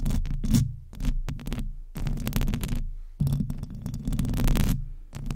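Long nails scratch and lightly tap the hollow metal mesh grille of a silver microphone. The result is a boomy, low rumbling throb in bursts of rapid crackly scratches with brief quiet gaps. Faint bright rasping sits above the heavy bass.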